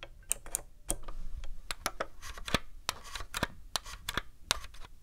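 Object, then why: Hard-plastic game console casing. Long nails tap the lid and top casing of a black hard-plastic Nintendo GameCube console, a hollow box, then tap its front panel around the controller ports. The result is a run of quick, sharp, bright plastic clicks that die away almost instantly, over a faint low background rumble.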